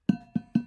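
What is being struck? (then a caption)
Insulated metal cup tapped on a wooden desk. An insulated metal cup is tapped three times on a wooden desk. Each tap gives a short knock with a low tone near 200 Hz and thin, sustained overtones. Together they make an odd metallic ring that sounds like metal on metal.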